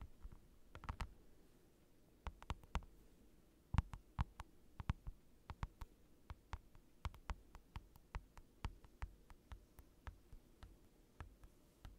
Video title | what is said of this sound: ASMR Tapping Heaven | It's like a giant rectangle of acrylic, and it makes incredible tapping sounds.